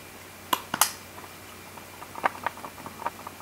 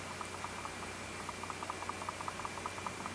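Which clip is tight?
The second.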